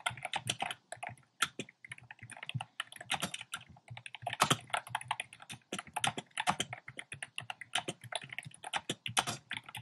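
Fingertips type fast and densely on a compact plastic mechanical keyboard with round pastel plastic keycaps in a dark frame. The clip is a steady stream of short, bright, clacky key clicks with little low end, each dying away almost instantly, at a soft, even level throughout.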